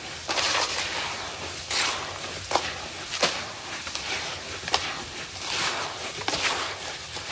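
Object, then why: Sand-cement mix in a plastic tub. Bare hands dig into crumbly, damp grey sand-cement mix in a large blue plastic tub, squeezing and crumbling clumps and rubbing the loose mix between the fingers. A steady, bright, gritty rustle and crackle runs throughout, broken by about six sharper crunches with little low end. There may be occasional contact with the tub walls.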